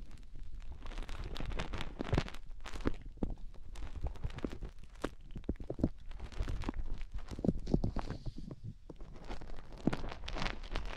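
Long nails dig and scratch inside both ear canals of white silicone rubber microphone ears. The result is a dense, continuous stream of close, muffled scraping and crackling with heavy low rumble and soft thuds, plus occasional brighter scratchy flicks.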